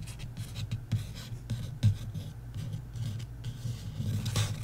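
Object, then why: Paperback book with card cover. A long-nailed fingertip traces and scratches across the card cover of a paperback novel, "Love & Other Words," lying flat on a table. The result is soft, low rubbing and scraping with occasional brighter scratchy flicks.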